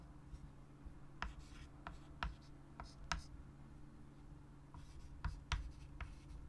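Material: Chalk.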